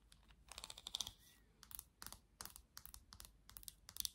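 Long nails tap and scratch across the slotted back and bristles of a black plastic vented hairbrush. Quick, bright, dry clicks come in short bursts with scratchy rustles between them, each click stopping at once with no ring. The sound stays quiet and thin, with almost no low end.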